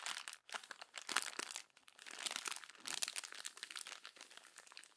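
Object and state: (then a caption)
Glossy paper magazine page. Long fingernails crumple a page of an open glossy paper magazine along the spine, then rub and smooth it flat. Dense, crisp crinkling and crackling fill the clip with bright, hissy texture and almost no low end, rising and falling in quiet bursts.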